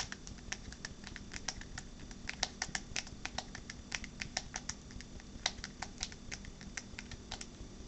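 A smartphone in a purple rugged rubber-and-plastic case is held upright in one hand while the fingernails and fingertips of the other hand tap its back. The result is a quick, irregular patter of short, dry, bright clicks over a faint low background hum, each tap dying away almost at once.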